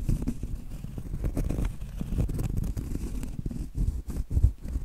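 Long light-blue acrylic nails tap and scratch the front face of a large, thin, flat, round solid cork trivet. The result is a steady stream of soft, dull, low, muffled taps mixed with rough scratching that dies away almost instantly, with a few slightly stronger knocks near the end.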